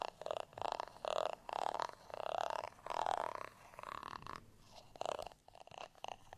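A textured beige plastic rice paddle, flat and solid and held by its handle, is scratched with a black tweezer-like tool. The result is a series of short, rasping scratch bursts with a midrange tone near 820 Hz and some brighter edges, separated by brief quiet gaps.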